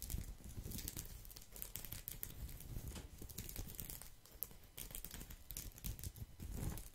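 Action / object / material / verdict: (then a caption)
scrape / woven straw placemat / straw / none. A flat, thin, round woven straw/rattan placemat is held close to the microphone, moved from one side to the other, and scratched with fingertips and nails. It makes a steady, dense scratchy crinkling rustle with bright, crisp ticks over a heavy low rumble. The texture dips briefly midway before building again.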